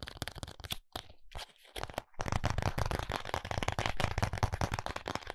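A small, flat, closed white paperboard contact lens box is tapped with fingertips and short nails. The result is a rapid run of dry, crisp taps with a low papery thump, plus a brief quieter stretch before the tapping picks up again, denser and louder.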